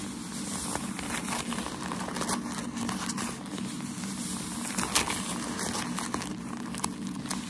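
A bundle of white tissue shoe-packaging paper, held in both hands, is scratched and squeezed with fingertips and nails. The result is a steady, dense crinkling and scratchy rustle with a low rumble underneath, broken by occasional sharper, bright crackles.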